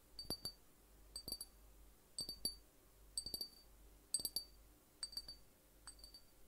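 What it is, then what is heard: Small glass drink bottle. A small glass juice bottle with an orange and yellow label and a cap, apparently holding liquid, is held in one hand and tapped near the neck and cap with the fingertips of the other. Quick clusters of light, bright glassy taps ring with a high pitch and die away almost at once. The clusters repeat roughly once a second over a quiet background.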